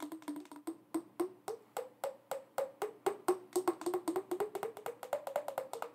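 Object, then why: Small glass jar with metal screw lid. A small clear glass jar with a screw-on metal lid, filled with pink glitter and crystals, is held up and tapped with long acrylic nails. About 33 quick, crisp taps come in an uneven rhythm, each a bright click with a short hollow glassy tone that shifts in pitch from tap to tap and dies away almost at once.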